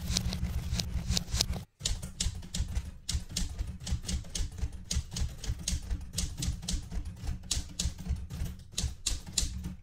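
Fingertips type on the plastic keys of a metal portable manual typewriter, producing a quick, steady run of sharp, bright clacks over a low, thumping body resonance. The typing pauses briefly near the start, then resumes at an even pace until the end.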